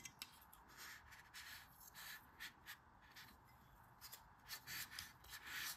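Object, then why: Kinetic sand in a stainless steel scoop. A green kinetic sand ball is pressed into a stainless steel ice cream scoop held in one palm while the other hand, with long red nails, squeezes the handle. The sand crumbles, rubs and scrapes inside the metal bowl in soft, bright, hissy bursts that swell and fade over a quiet, steady background.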